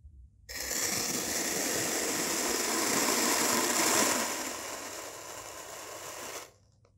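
A white-bladed knife cuts into slices of a solid, striped yellow and pink layered kinetic sand bar. The result is a continuous, bright, gritty scraping hiss that starts half a second in, swells slightly around the fourth second, then eases off and stops just before the end.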